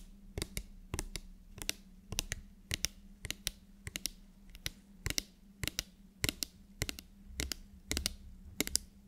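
A medium frosted translucent spray bottle, likely plastic, with a black pump nozzle, hollow and partly filled with liquid, is held upright and tapped rapidly with long nails. The taps are short, sharp, bright clicks, often in quick pairs, that stop dead with no ring. A faint steady low hum sits underneath.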